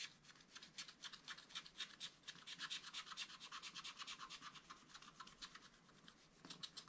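A wooden stylus scratches across the lower part of a black wax-coated sheet on a small spiral-bound scratch-art pad. It makes a quick run of soft, dry, high-pitched scratchy strokes at an uneven pace of about two per second, with almost no low end.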